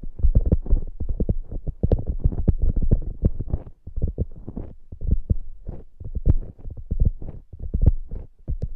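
Long acrylic nails on both hands scratch the glittery top of a soft polyurethane foam hamburger squishy toy. The result is a dense, fast run of short, dull, low scratching strokes with almost no ring and only faint high edges.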